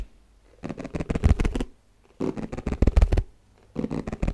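Fingertips and nails tap quickly on the flat base of an empty, hollow, white round plastic Tupperware food container held up close. The taps come in three rapid bursts separated by short pauses, each a dry, hollow knock with a deep, thumpy low end and almost no ring.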